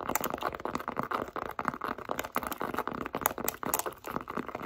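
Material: Leather.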